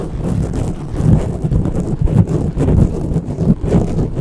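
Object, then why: Foam microphone windscreen. Long natural fingernails and fingertips of both hands scratch and rub a soft, porous dark grey foam windscreen on a silver condenser microphone. The result is a steady, muffled, deep rumbling scrape with irregular swells in loudness. It is almost entirely low in pitch, with no bright or high content.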